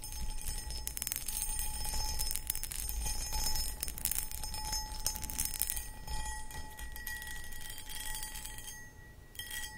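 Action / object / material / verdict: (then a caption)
scrape / cut crystal footed bowl / crystal glass / none. Long acrylic nails scratch and tap across the cut pattern of a hollow, empty, medium cut crystal glass footed pedestal bowl. Dense, irregular scraping and quick ticking taps with bright, high edges fill the clip, while a faint steady glassy tone rings underneath, fading slightly before a last flurry at the end.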